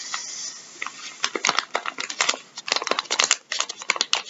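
Gloved fingertips scratch and crinkle a full, soft plastic packet of wet wipes resting on a wooden table. A brief soft hiss gives way to a dense run of quick, bright crackles and scratches with no low end. Each rustle stops dry with no ring.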